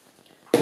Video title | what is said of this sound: Easy Yum Yums PT2 Cooking Stage | if you tap the bottom of it it should sound hollow